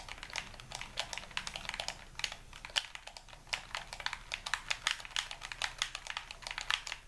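A white, hand-sized, hollow plastic Xbox-style game controller is held in both hands while thumbs and fingers rapidly tap its buttons and sticks. The result is a dense, steady stream of bright, dry, clicky presses with almost no low end and no ring after each click.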